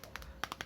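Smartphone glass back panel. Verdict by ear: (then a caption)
Solid. A fingertip taps the glass back panel of a Sony XZ3 smartphone six times, producing short, dry clicks with a bright ring around 1.2 kHz that die away almost at once. The back sounds solid, as expected, because it is glass.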